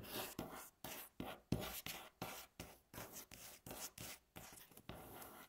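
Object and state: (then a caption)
Solid wooden tabletop. Long natural nail tips scratch along a solid, light wooden tabletop in a quick, uneven series of short strokes. Each stroke is a dry, raspy rub with a bright, hissy top and a faint low body, separated by brief near-silent gaps.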